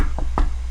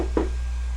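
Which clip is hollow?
The second.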